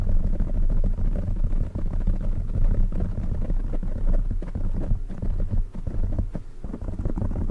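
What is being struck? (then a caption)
Foam microphone windscreen. Fingertips of both hands scratch and rub a black foam windscreen on a silver microphone. The result is a continuous, deep, muffled rumbling with dense crackling texture and almost nothing in the high range. The loudness stays steady, with only brief dips.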